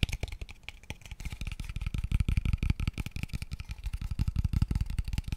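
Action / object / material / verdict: tap / small open-ended wooden square tube / wood / none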